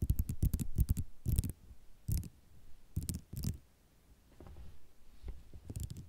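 Long nails tap and scratch a white ceramic mosaic tile sheet lying on dark cloth, producing quick, irregular clicky taps and rattles with short, dry decay. Dense bursts of tapping come first, then sparser clusters separated by quieter scratching, with most energy low but with sharp, bright transients on each tap.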